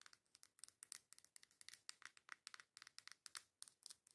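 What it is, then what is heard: Cardboard makeup palette. Long acrylic nails tap and scratch the cover of a coral cardboard face makeup palette held flat. About 27 quick, crisp clicks and scratchy rasps come in a fast, uneven stream. The sound is quiet and bright, with almost no low end and each tap dying away at once.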